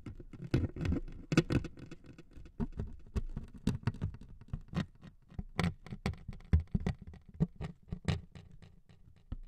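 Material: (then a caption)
Wood veneer. Two metal needles scrape across the surface of a thin wood veneer sheet resting on two mics. The result is a rapid, uneven series of short, dry scratchy ticks and patters, heavy in low, thumpy tone with faint bright edges, each one dying away almost instantly.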